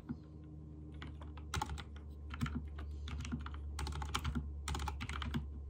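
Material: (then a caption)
Plastic. Fingertips type on a backlit mechanical keyboard with white and teal plastic keycaps, producing a steady run of quick, bright clicking key presses that come in bursts. A constant low hum sits underneath the typing throughout.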